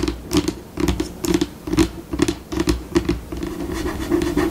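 Long pink acrylic nails on one hand scratch and tap a flat, solid white glossy laminate tabletop. Quick, irregular bursts of dry scratching and tapping come with a steady low-mid body and bright scraping edges. Each stroke stops dead with no ring.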